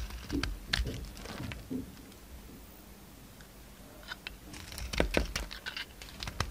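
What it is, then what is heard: Bar of soap being cut. A solid oval pink bar of soap with a red outer layer, held in the palm, is cut and scraped with a utility knife blade as chips pile up. Crisp, bright scraping strokes and sharp clicks come in bursts at the start and again near the end, with a quieter, softly hissing stretch in between.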